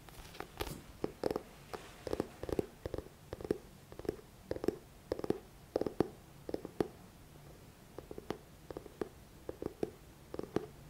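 Fingertips tap the glossy front cover of a thick paperback book in a quick, uneven series of soft, dry taps. Each tap has a hollow, low-mid thud around 350 Hz with a faint papery click and almost no ring, and the taps cluster in small bursts with brief pauses between them.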